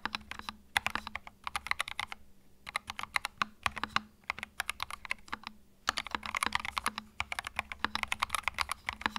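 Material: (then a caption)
Plastic. Fingertips type continuously on a compact white mechanical keyboard with plastic keycaps. The keys give sharp, bright, quickly decaying clacks in rapid bursts, separated by brief pauses. A faint steady low hum runs underneath, and the typing grows denser in the final few seconds.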